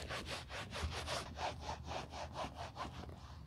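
A grey grained caviar leather YSL Wallet on Chain bag with white edges, small, flat and hollow, is held in gloved hands during restoration. A white cloth wrapped over gloved fingertips is rubbed firmly back and forth across its quilted leather face. The result is a quick, steady run of breathy, scratchy strokes, about four a second, over a low hum.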